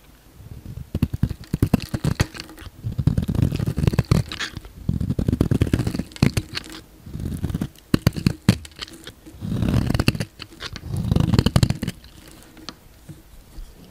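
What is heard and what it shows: A solid, palm-sized pink bar of soap is held in the hand and shaved with a yellow utility knife blade, slicing and scraping flakes off its surface. Repeated bursts of dense, crackly scraping and cutting come in strokes separated by short pauses. The sound is dull and mostly low, with little bright content.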